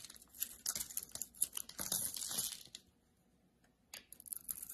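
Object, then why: Soap bar shaved with a metal blade. A solid rectangular bar of soap, with a red outer layer over a blue-white marbled core, is held in the hand and shaved with a metal utility-knife blade. Crisp, bright scraping and crackling bursts come in quick strokes, then fall silent for about a second before the shaving starts up again.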